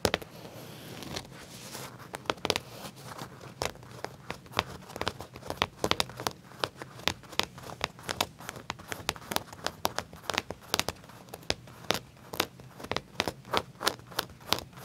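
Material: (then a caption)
Leather. Fingertips with short nails scratch and tap across the back pocket of black leather pants laid flat, over the seam and a small metal tag on the soft, thin material. Dozens of sharp, bright taps and crinkly scratches repeat steadily over a quiet, rustling background.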